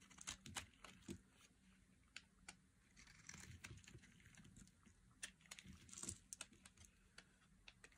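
A metal blade shaves flakes off a solid, hand-sized orange bar of dry soap. Short, crisp scraping and crackling strokes come in quick irregular bursts, bright and dry with almost no ring. A faint low hum sits underneath at a quiet overall level.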